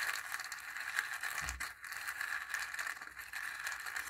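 A wooden stick stirs dry chickpeas inside a small, hollow dried-gourd bowl with a zigzag rim, partly filled, so the chickpeas rattle against the gourd wall. The result is a steady, dry, bright rattle and scrape with a hollow ring around 1.6 kHz. A brief low thump comes about halfway through.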